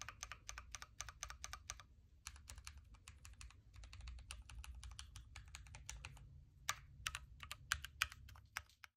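Fingertips type on a backlit Keychron Q3 Knob hot-swappable mechanical keyboard with red switches, plastic keycaps and a metal case. Rapid, uneven runs of short, bright clacks sit over a steady low hum, with brief pauses between bursts. A few sharper, louder keystrokes stand out near the end.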